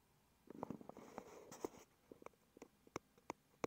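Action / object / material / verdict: tap / small cardboard box / cardboard / none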